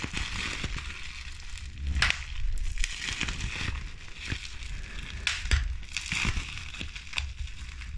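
A crumpled sheet of clear plastic bubble wrap with hollow air bubbles is squeezed and crushed between fingertips with medium pink nails. Steady crinkling and crackling runs under a low, rumbling handling noise. Sharp, bright pops burst out at irregular moments as bubbles break.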